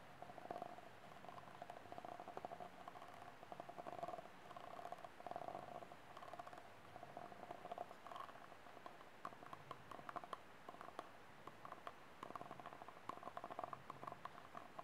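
Fingernails scratch and tap the ribbed side, near the base, of a small, empty, ribbed white disposable plastic cup held sideways. It makes quiet, dense clicks and scratchy rasps with a hollow ring near 700 Hz. Each tap dies away almost at once, with little low end and only faint high content.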